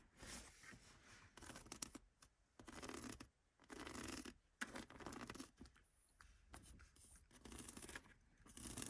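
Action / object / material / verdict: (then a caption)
scrape / rubber car floor mat / rubber / none. Long nails and fingertips scratch and rub the textured surface of a black rubber rear floor mat with a diamond tread pattern and a Mercedes logo, lying flat and solid on the carpet of a classic Mercedes 200. The result is dry, bright, hissy scraping in irregular bursts of strokes separated by short pauses, with no ring after each stroke.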